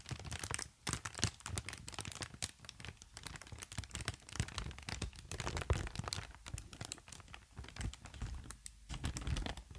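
A long strip of green-tinted, air-filled plastic cushion packaging is squeezed and crinkled with fingertips and long nails. Dense, rapid crackling and crinkling comes in bursts with short dry snaps and a low, hollow thump underneath. The sound runs continuously with a few brief lulls.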